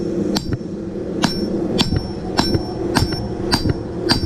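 A steel Damascus canister billet, fresh out of the forge, is struck seven times with a hammer. Each blow gives a bright, bell-like ring over a steady low background roar. The clear ring shows the forge weld is good.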